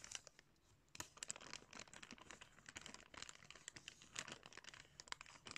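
Hands crumple and crinkle a clear plastic packaging bag holding blue sunglasses. After a quiet first second, a dense run of sharp, bright crackles and rustles follows, with almost no low end. The crinkling continues steadily with short louder bursts throughout.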